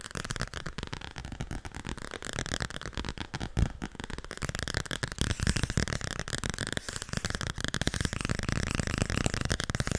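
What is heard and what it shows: Fingernails tap rapidly on the glossy cover of a small yellow-green children's book with thick board pages, held in both hands. The taps form a dense, continuous stream of short, dry clicks with a heavy low-frequency thud beneath them, growing slightly louder in the second half.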